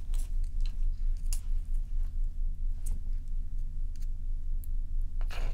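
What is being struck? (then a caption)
Large ice block. Long nails tap and scratch the sides and top of a large, solid, dome-shaped ice block resting on a towel. Short, bright clicks and scratchy strokes come at an uneven pace over a constant low rumble.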